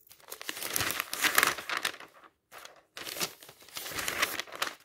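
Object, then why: Glossy paper magazine. Fingertips repeatedly flip the thin pages of an open glossy paper magazine lying on a table. Bright, crisp rustling and crinkling comes in bursts, broken by a short silence near the middle and then resuming.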